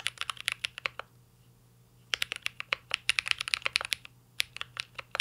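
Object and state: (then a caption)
Mechanical keyboard with plastic keycaps. Fingertips type steadily on a mint-green Cyberboard R3 mechanical keyboard with a metal case and plastic keycaps. Quick, bright clacks come in rapid bursts, with a clear pause of about a second early on and a shorter gap later, before the typing picks up again.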